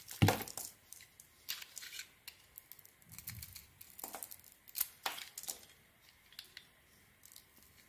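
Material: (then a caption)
Soap. A small solid white soap bar with a pink sequin and glitter coating, held in the palm, is shaved with a metal blade that peels off the coating and cuts into the soap. Repeated crisp, crackly scraping strokes with bright, papery tearing edges come in short bursts, with a few softer, duller cuts between them.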